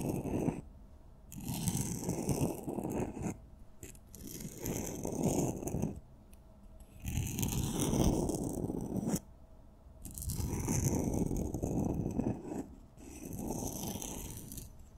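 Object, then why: Glitter-coated wooden pencils. A red and a purple glitter-coated solid wooden pencil, crossed and held in hands with long nails, are slid and scraped along each other's glittery surfaces. The result is a gritty, crackly scraping heard in several long strokes separated by brief pauses, with a bright, sparkly grain over a denser low rasp.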